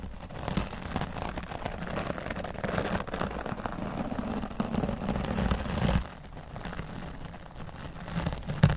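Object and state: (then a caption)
Foam microphone windscreen brushed. A wooden dry brush's bristles sweep over a grey foam microphone windscreen, first along the side and then across the top. This makes a dense, low, rumbling scratch with a faint crackle. The brushing drops noticeably quieter at about six seconds, then ends with one sharper, louder stroke.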